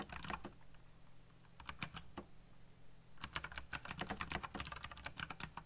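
Fingertips type fast on a backlit black plastic mechanical keyboard with RGB lighting and hollow key switches. Quick bright clacks with a low thump come in a short burst, a pause, then a brief cluster, before settling into a steady rapid run of keystrokes to the end.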